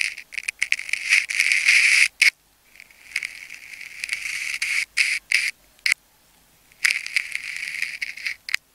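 A metal craft knife blade slices and scratches into the layers of a palm-sized solid ball of wound clear and pink adhesive plastic tape held in the fingers. The sound is a bright, crackly scraping in irregular bursts and longer sweeps, separated by short silent gaps, with almost no low end.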